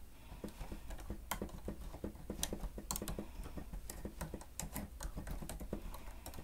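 Both hands type with their fingertips on the keys of a plastic stenotype machine, making a steady stream of quick, clicky taps. Each tap is a short, dry click with a soft low thump underneath and a bright tick on top, and the clicks die away almost instantly. The typing stays quiet and even throughout.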